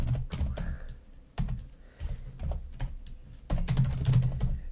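Fast typing with long nails on the keys of a black plastic laptop keyboard makes quick, irregular clicky taps with a dull low thump under each press. The taps come in uneven bursts, with a denser, louder flurry near the end.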